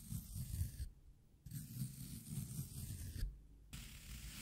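A small metal scraper blade with a yellow plastic handle scrapes and gouges pits into the top of a round, solid, wet green floral foam cylinder resting on a dark cloth. The result is a soft, crumbly, low-heavy scraping with faint bright grit, broken by two brief quiet pauses.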